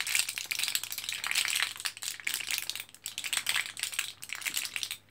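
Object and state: Blister pack of capsules.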